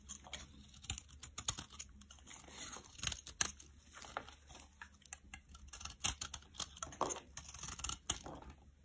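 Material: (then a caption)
Soap. A solid purple bar of soap, held in the hand, is shaved with a metal blade that scrapes curls off it. The sound is a quiet run of crisp, bright scraping and crackling strokes with tiny, short-lived clicks throughout.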